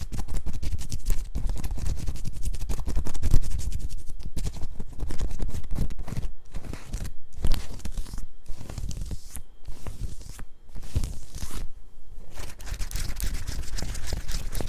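Long nails on both hands scratch fast up and down the printed bear-and-cloud graphic on the chest of a worn black cotton t-shirt. The result is a dense, continuous run of rapid scratching strokes, with a rough low rumble underneath and a bright, hissing fabric texture on top, broken by brief pauses.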